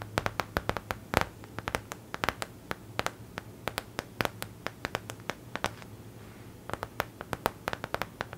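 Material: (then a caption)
Paper. Long acrylic nails tap and scratch the glossy printed surface of a stiff *Lord of the Rings* paper art print, a thin flat sheet held upright in one hand. Dozens of sharp, dry clicks with bright crackle ring out in quick, irregular bursts, separated by soft scratching. A faint low hum runs steadily underneath.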